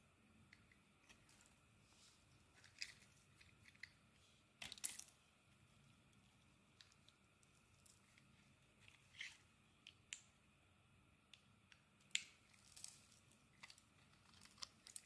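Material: Soap.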